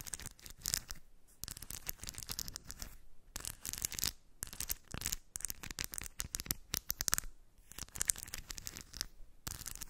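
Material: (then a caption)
Steel. Long white fingernails scratch across steel ball bearings packed into a small round cork dish while the other hand holds the rim. The result is a rapid run of bright, crisp metallic clicks and rattles in dense bursts, separated by brief pauses.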